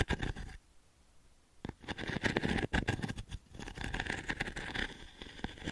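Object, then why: Wooden-frame pin brush. A small octagonal wooden-frame pin brush with a dense grid of pins, held in the palm, has its pins raked by long nails. Quick, irregular scratchy crackles come in bursts, with a near-silent pause early on before the raking resumes more densely and brightly.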